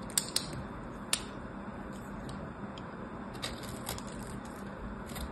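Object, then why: Bar soap cubes and small knife blade. A small knife blade scrapes across a solid purple bar soap held in the hand, flicking off the small cubes it has already been cut into. Sharp, bright clicks and scratchy ticks come in an irregular scatter, loudest near the start, over a quiet, steady low hiss.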